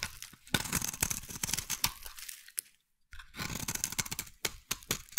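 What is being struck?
Bar of soap scraped with a metal blade.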